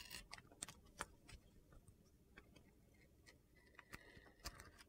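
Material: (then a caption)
Soap. A utility knife blade carves and shaves slices from the same blue glitter-coated bar of soap, making a quiet series of short, crisp, gritty scrapes and clicks. The carving continues until most of the soap's white interior shows.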